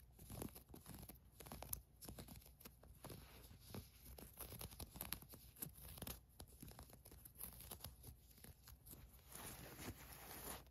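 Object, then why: Cotton fleece sweatshirt. Long nails scratch the ribbed cuff of a green cotton fleece sweatshirt, then a hand rubs across its printed area. The clip is a dense run of quick, dry rasping and crinkly scuffing strokes over a low rumble and a faint, steady high hiss, with the rubbing at the end turning softer and smoother.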